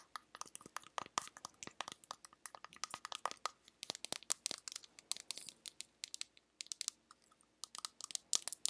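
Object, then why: Small metal tin. Fingertips and long nails tap and scratch the lid and sides of a small, round, teal metal tin that appears hollow. The result is a quiet, rapid run of dozens of dry, clicky taps with crinkly scratching between them, all bright and crisp with no low end, each tap cutting off almost at once.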